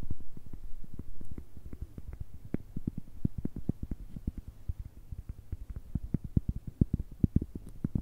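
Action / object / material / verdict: tap / cork coaster tapped with fingernails / cork / none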